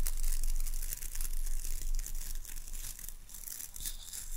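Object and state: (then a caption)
Boar bristle hairbrush scratched. Long nails scratch and rake across the dark boar bristles of a wooden-handled hairbrush. The result is a rapid, uneven stream of bright, crinkly scratching over a steady low rumble, slightly louder in the first couple of seconds before easing off.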